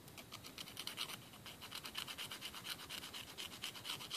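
A thin, flat, solid emery board, a grit-coated nail file held in the fingers, is drawn rapidly back and forth across a fingernail tip over a wooden table. The quiet, steady rasping strokes sound dry, bright and scratchy, with a faint whistle-like tone near 3 kHz. Each stroke fades almost immediately.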